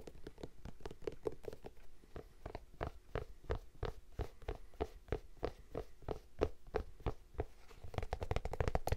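Fingertips tap and scratch the printed canvas and suede upper of an empty lavender Vans-style high-top sneaker with a rubber sole, held in one hand. A brisk, uneven run of soft, dull, low taps is heard, each dying away at once, with faint scratchy rustling between them. The tapping grows slightly denser and louder toward the end.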